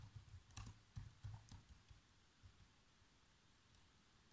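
Fingertips press the black plastic keys of a laptop keyboard in irregular typing taps. The soft, low thuds are quick and dry, with a few brighter clicks mixed in. The taps are clustered in the first half and thin out to sparse presses, ending on one last tap.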